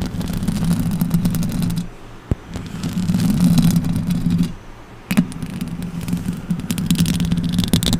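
Long orange acrylic nails and fingertips scratch and tap the hollow metal mesh grille of a silver condenser microphone. Dense, rapid scratching and rubbing builds a heavy low, boomy rumble with crisp high crackle on top, dropping quieter around 2 and 4.5 seconds. Sharp taps cut through at about 2.3 and 5.2 seconds.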